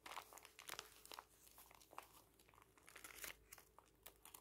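Fingertips press and flip through a thick booklet of thin printed paper pages lying on white tissue paper. Quiet, bright crinkling and rustling come through as a quick series of short papery snaps and flutters, with almost no low end and no lingering ring.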